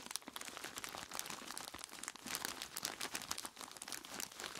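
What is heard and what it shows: Dark-gloved hands squeeze and crunch a large clear plastic bag full of ice cubes from both sides. The result is a dense, continuous run of bright crinkling plastic and crunching, clicking ice, with sharp short snaps and almost no low end.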